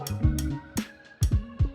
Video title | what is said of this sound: Portable Vocal Booth - unboxing | bunyi macam besi. Bunyi macam besi.